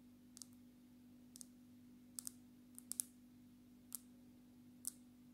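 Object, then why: Smartphone with glass screen in a plastic case. Long natural nails tap on the glass screen and edge of a smartphone in a dark red plastic case. They make sparse, sharp, bright clicks, often in quick pairs, that die away almost instantly over a quiet, steady low hum.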